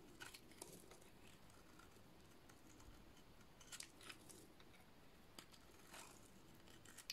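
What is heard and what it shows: A solid purple bar of dry soap is shaved with a utility-knife blade, giving soft, intermittent scraping and crisp bright flicks over a low, steady background hum. The strokes are quiet and dry, and each one dies away almost at once.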